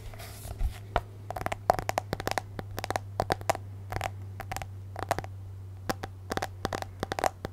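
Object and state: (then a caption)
Tablet glass screen tapped with fingernails. Long nails tap rapidly and irregularly on the black glass touchscreen of an iPad in a case, held in both hands. Each tap is a short, dry click with a faint ring around 700 Hz that dies almost instantly. A steady low hum sits underneath throughout.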